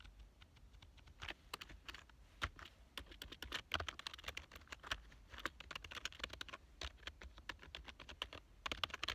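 Fingertips type steadily on a black plastic full-size computer keyboard with a hollow body. The result is a quick run of short, bright, clicky keystrokes with almost no ring, over a faint low hum.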